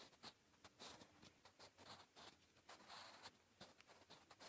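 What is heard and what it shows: A blue wooden graphite pencil scratches across a flat grey lined notebook page while writing Korean. The quiet, dry strokes come as short bursts of bright, papery scratching with little low end and almost no ring after each stroke.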